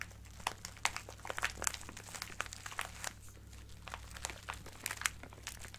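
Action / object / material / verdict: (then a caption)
shake / plastic bag of plastic gems / plastic / none. A small clear plastic bag with a cardboard header, full of colorful acrylic craft gems, is crinkled and squeezed with fingertips and nails. Bright, dense crinkling with sharp clicks from the gems and plastic rises and falls over a low, steady hum.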